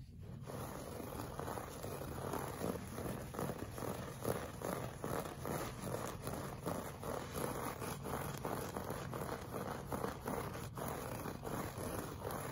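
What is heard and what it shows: A flat beige looped-pile woven rug lying solid on carpet is scratched with the short fingernails and fingertips of both hands. Quiet, continuous, fairly irregular scratching strokes repeat rapidly, with a soft, muffled low-to-mid texture and little brightness.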